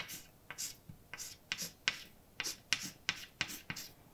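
A hand writes words with a white chalk stick on a large, flat, dark painted blackboard with a solid surface. About ten short, bright scratching and tapping strokes are heard, each dry and quick with almost no ring and little low end.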